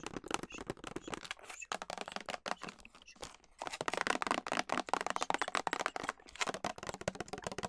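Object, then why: Clear plastic clamshell container of pitted dates. Long nails tap and scratch a full, clear plastic clamshell container of pitted dates. The result is a dense, rapid run of dry, crisp clicks and crinkly scratching in the mid and high range, with little low end and no ring. Short pauses break it up, and the scratching grows louder toward the end.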